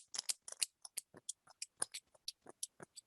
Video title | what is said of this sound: Chapter 18 Part C (Heart Valves) | the problem with this is that it's loud